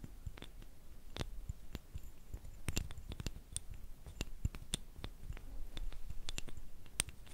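Two thin, flat, light, solid wooden sticks about a hand's length are rubbed and scratched against each other, held by fingers with long nails. Quiet, dry scratching runs throughout, broken by many sharp, bright wooden clicks and ticks over a soft low rumble.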